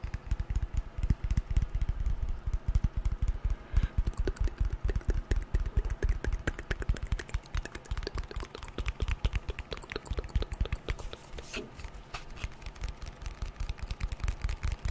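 Long painted nails tap rapidly and continuously on the glass screen and aluminium edges of a white smartphone held close to the microphone. The short, dry clicks fall in a dense, uneven stream with very little ring, each carrying a strong low thump and a faint bright tick.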